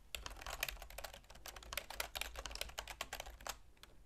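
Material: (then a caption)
Plastic. Continuous typing with long nails and fingertips on a full-size black plastic keyboard with a silver plastic frame. It makes a rapid, uneven stream of short, dry, bright plastic clicks and taps with almost no ring, over a faint steady low hum, trailing off to sparser taps at the end.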